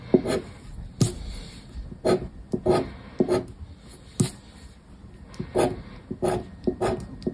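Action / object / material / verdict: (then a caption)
scrape / paper scratch card on a wooden surface / coated paper / none. A black disc scraper scratches the coating of a 50X paper scratch card resting on wood, in short rasping strokes separated by pauses. Each stroke is a dry, scratchy rub with a mid-range tone around 360 Hz and brief high flecks, fading quickly.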